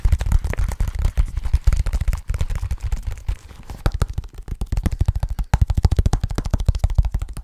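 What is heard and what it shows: Fingertips of both hands tap quickly on the surface of a small, soft-sided, hollow black leather bag. The result is a rapid, uneven stream of dull, deep thumps that die away instantly with no ring. A brief, quieter stretch midway is followed by steady fast tapping again.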